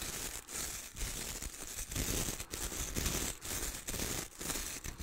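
Fingertips scratch and strum the dark bristles of a wooden-handled hair brush held upright beside the mic. Bright, dense scratchy rustling comes in repeated strokes with brief dips between them, over a steady low rumble.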